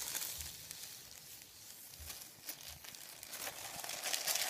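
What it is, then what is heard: Paper sheet being crinkled. Fingertips rub, lift and crinkle a thin sheet of printed white paper resting on a wooden table. Soft, bright crinkling and rustling rise and fall throughout, with brief sharper crackles and faint low thuds beneath. The crinkling grows brighter and denser toward the end.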